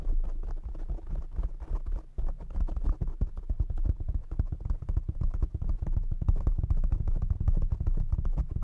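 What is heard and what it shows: Fingertips tap fast on a black foam windscreen fitted on a desk microphone. The result is a dense, continuous run of deep, muffled thumps with a boomy low rumble and almost no bright content, each tap dying away quickly.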